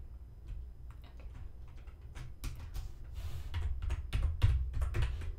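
Fingertips of both hands type on a black plastic computer keyboard resting on a desk. Short, quiet, irregular clicks and taps run over a steady low hum, growing a little louder and busier toward the end.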